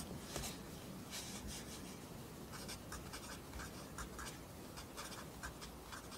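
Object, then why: Pencil graphite on lined paper notebook. A pencil writes along the top line of a lined paper notebook held flat by the other hand, its graphite scratching the paper. Short, bright, scratchy strokes come in quick bursts over a low, steady rumble, and the whole clip stays quiet and even throughout.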